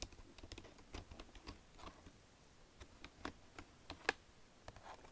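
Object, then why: Plastic computer keyboard with touchpad. Long nails and fingertips tap the keys and tap and scratch the touchpad of a black plastic Logitech wireless keyboard with a built-in touchpad. The result is a quiet, scattered series of short, bright plastic clicks and taps. One sharper click stands out near the end.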